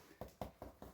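Four knocks on a ceramic floor tile freshly laid on thinset over concrete give dull, hollow thuds centered low around 500–700 Hz with very short ring. The tile sounds hollow because the thinset has not dried yet, and a hollow spot under a tile can make it pop up or crack.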